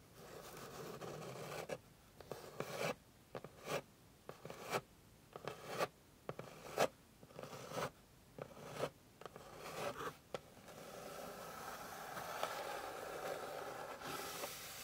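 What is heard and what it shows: Long pink nails scratch a flat, light, solid wooden board. A steady rasping scratch gives way to a series of short, separate scrape strokes at roughly one per second. It then settles back into continuous scratching with a bright, dry texture.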